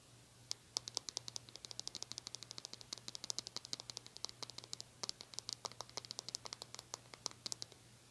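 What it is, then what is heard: Small plastic hair brush. Long nails rapidly scratch and tap the glossy plastic back and bristles of a small metallic-pink plastic hair brush. The result is a quick string of dozens of short, sharp, bright clicks and scratches that die away instantly, over a faint steady low hum.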